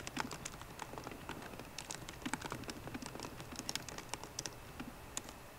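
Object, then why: Laptop keyboard with plastic keys on a metal body. Both hands type steadily with fingertips and long nails on a MacBook Pro keyboard, its plastic keycaps set in a hollow aluminium laptop body. A quick, even stream of dry clicks and taps is heard, each one short with almost no ring and a bright, clacky top, with some slightly louder strokes standing out.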